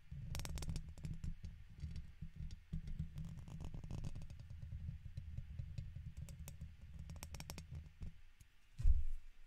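A red plastic guitar pick scratches the left side of a silver microphone's hollow metal mesh grille. It makes a steady stream of dense, low, rumbling scrapes and quick clicks, with a louder thump near the end.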